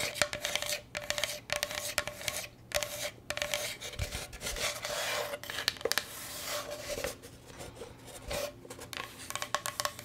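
Long nails scratch and tap across the wooden surface of a solid, rectangular striped bamboo cutting board held upright in both hands. Bright, raspy scratching strokes come in bursts separated by short pauses, broken up by quick, dry taps, with a faint steady tone near 600 Hz running underneath.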